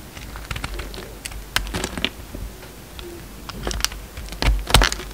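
A utility knife shaves and cuts a solid light blue bar of soap, making a run of crisp, irregular scraping and clicking strokes with bright, high crackle. The strokes cluster in short bursts over a soft low background, with the loudest cuts near the end.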